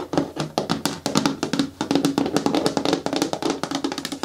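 Long nails tap quickly on the walls of a hollow, hard green plastic caddy bin with a lid and a grey handle, turned to face forward. Each tap is a dry, hollow click with a brief tone near 273 Hz and a bright edge, dying away almost at once in an uneven, fast run of taps.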